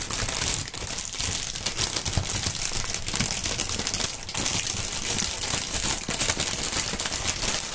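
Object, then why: Polyethylene air-cushion packaging film. A long strip of clear, printed polyethylene air-cushion packaging film (plastic air pillow film) is stretched and crinkled between the fingers. The result is a dense, continuous, bright crackling with a lighter low rumble underneath. It stays steady throughout, with only brief dips in loudness.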